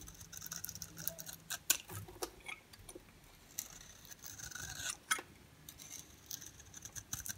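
A metal utility-knife blade scrapes and shaves a hand-sized oval bar of dry, solid soap held in the palm, its black ridged outer layer giving way to a yellow interior that comes off in yellow flakes. Quiet, bright, crisp scraping rasps mix with short, sharp ticks and clicks at an irregular pace, each one dying away almost at once.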